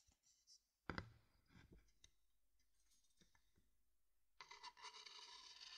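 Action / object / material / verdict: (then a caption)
tap / wooden bowl and wooden stick / wood / none. A wooden stick taps and scrapes inside a medium, dark, hollow, empty wooden bowl held above a binaural mic. A sharp knock near the one-second mark is followed by softer taps and light scratches. It ends in a sustained bright scraping for the last second and a half.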